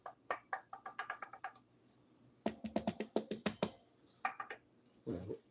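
Knuckle-style knocks on a light, thin, undrilled mahogany guitar neck with no finish, not yet fitted to its guitar. Three quick runs of dry, woody taps with a hollow tone around 430 Hz die away almost instantly, ending in a brief duller, noisier knock. The tone is bright, which comes from the neck's thinness, lack of finish and mahogany.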